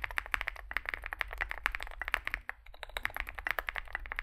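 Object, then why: Mechanical keyboard with metal case and plastic keycaps. Two hands type with their fingertips on a Zoom65 65% mechanical keyboard resting on a desk mat. It has a dark case (likely aluminum), white and grey SA-profile plastic keycaps and lubed switches. The result is a rapid, steady stream of short, crisp key taps centered around 1.8 kHz with bright clicky edges, over a faint low hum.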